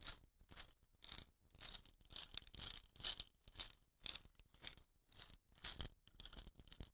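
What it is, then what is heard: Painted bamboo rain stick. Fingers rub and scratch the rattan-bound end of a hollow, painted bamboo rain stick and roll the tube. The result is a quiet run of dry, bright, scratchy bursts that swell and fade at an uneven pace, with a faint crinkling, tearing texture.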